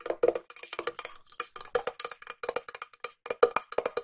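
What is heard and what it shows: A small, hollow, cylindrical silver metal tin is tapped on its side and lid with long nails while being turned in the hand. The result is a quick, uneven run of short, dry clicks, each with a brief hollow metallic ring around 480 Hz, bright tips and almost no low end.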